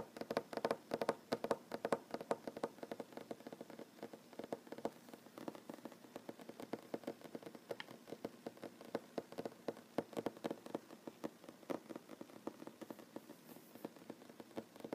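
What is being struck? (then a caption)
Wooden tabletop. Short fingernails tap rapidly on a solid wooden tabletop, making a steady stream of quick, dry clicks. Each tap is short and woody with almost no ring, centered in the midrange.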